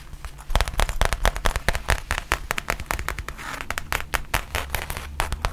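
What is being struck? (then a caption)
Faux leather zip pouch. Long nails tap and scratch the surface of a black faux leather zip pouch held upright. A rapid, uneven run of short, sharp, crackly clicks fills the clip, with a brief hissy scratching stretch midway over a low steady hum.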